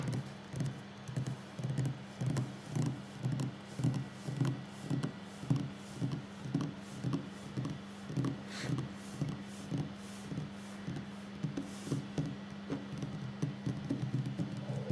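Fingertips and short nails of both hands tap a solid wooden tabletop in a steady, slightly uneven rhythm of about two dozen soft, low, dull knocks. Each tap dies away quickly over a constant low hum, with little high-end brightness.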